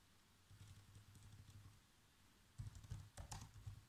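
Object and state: Plastic laptop keyboard being typed on.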